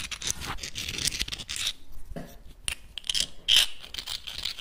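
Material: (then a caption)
Shell. Small, hard, hollow clam shells are held close in both hands, rubbed and clicked against each other and scratched with the fingertips. The result is a dense, bright stream of scraping, scratching and sharp clicks, with short ringing peaks around 3 kHz.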